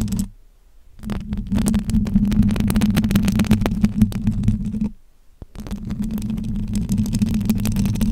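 Long acrylic nails scratch and tap across the silver metal wire-mesh grille of a bare, handheld-size microphone with its foam cover removed and a hollow head. The result is a dense, close, rumbling scrape with a low droning resonance and rapid clicky taps, broken by two brief silent pauses.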